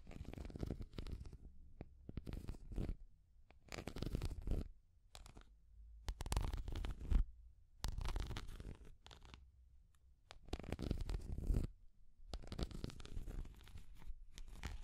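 Long grey nails scratch and tap across the surface of a small orange and green translucent plastic cat figure. Irregular bursts of dense, rustly scratching and quick clicky taps alternate with brief near-silent pauses. The sound is dull and heavy in the low end, with faint bright scratchy edges.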